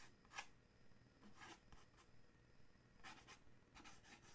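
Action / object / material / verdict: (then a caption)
scrape / paperboard gift box / paperboard / none. Fingernails scratch and tap the front of a small, dark, printed paperboard gift box for a coffee mug, likely with the mug inside, held in one hand. Quiet, dry, bright rasping strokes and light taps come in short bursts over a soft low background hum, with one sharper tap near the start.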